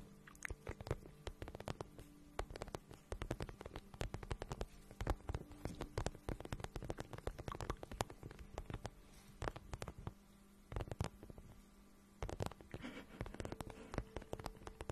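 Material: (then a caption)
Vinyl. A hollow, glossy pink patent vinyl boot is held in both hands while long nails tap and rub its surface. Dense, rapid taps and scratchy rubbing sound dull and low, with a soft hollow thump under each tap. The tapping pauses briefly near 10.5 and 12 seconds.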